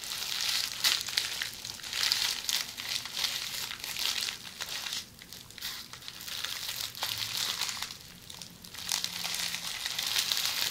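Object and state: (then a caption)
Plastic bubble wrap. A hollow roll of red plastic bubble wrap, held in the hands, is scratched with long polished fingernails. It makes a dense, bright crinkling and scratching with sharp crackly ticks, almost entirely high-pitched with no low end. The sound thins out briefly around the middle and again near the eight-second mark before building back up.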